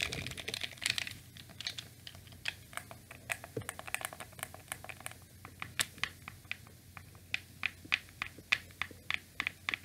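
A black hollow plastic PlayStation 2 DualShock controller with its cable has its buttons and triggers pressed and clicked by thumbs and fingers. Quick, irregular, sharp plastic clicks sound bright and dry with almost no ring, over a faint low steady hum. The clicking starts as a dense clatter and thins into sparser, more distinct and louder snaps toward the end.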